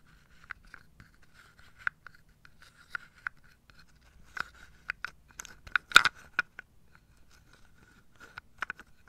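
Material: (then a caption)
Wood. Long nails scratch and tap across the tops of wooden dominoes packed in a carved wooden tray. The result is quiet, dry scratching broken by short, sharp clicks that stop almost instantly, with the loudest tap near the six-second mark. A faint steady tone around 1.4 kHz runs underneath throughout.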